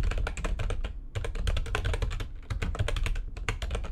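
Long painted nails type rapidly on a backlit plastic computer keyboard. Dense, fast clicks and clacks carry a strong low thump beneath bright, crisp key edges, with each stroke dying away almost instantly. The flurries of typing break only for a few brief pauses.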